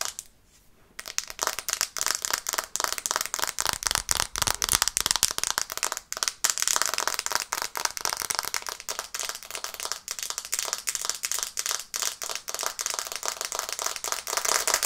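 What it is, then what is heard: Smartphone glass screen. Long painted nails tap quickly on the glass screen and edges of a black smartphone held in both hands. After a second of near silence, a rapid, continuous stream of sharp, bright clicks follows, each dying away almost instantly with almost no low end.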